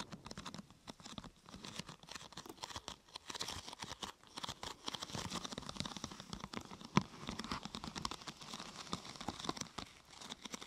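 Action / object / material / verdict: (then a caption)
tap / thin glossy plastic sheet curved into a half-tube / plastic / none. Long nails tap and scratch along the side and top of a thin, glossy purple plastic sheet curved into a hollow half-tube. The result is a quiet, steady stream of rapid, crinkly taps and bright scratches, with one sharper, louder tap near the seven-second mark.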